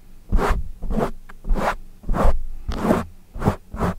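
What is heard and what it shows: Fingertips of both hands scratch and rub a soft, porous, fist-sized dark foam windscreen mounted over a studio microphone. Repeated rough, scratchy swishes come in uneven strokes, each a heavy low rumble with a brushy hiss that fades quickly.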